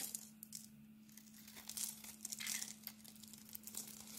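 A steel utility blade scrapes the pink glitter coating off a hand-sized, solid oval cream bar of soap held in the palm, shaving off flakes. The result is a quiet, bright, crinkly scratching made of quick rasping bursts over a steady low hum.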